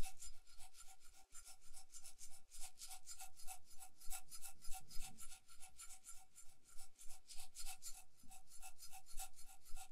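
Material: Beads, metal.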